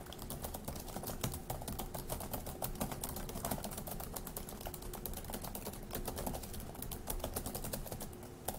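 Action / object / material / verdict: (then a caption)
tap / plastic laptop keyboard / plastic / none. Fingertips of both hands type fast on the plastic keys of a dark grey laptop keyboard. A steady, dense stream of quick, bright clicks runs over a low, muffled thump from the keys bottoming out, with a faint steady tone near 740 Hz underneath.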